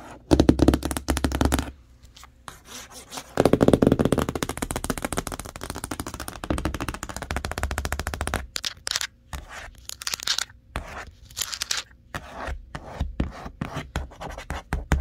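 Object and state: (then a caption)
Cardboard box tapped and scratched with nails. Long nails tap and scratch across the printed remote and TV images on a large, hollow, printed corrugated cardboard TV box. Rapid, dry, crackling taps with a hollow low thump alternate with brighter scratchy rustles, in dense bursts separated by brief pauses. Each hit dies away almost instantly.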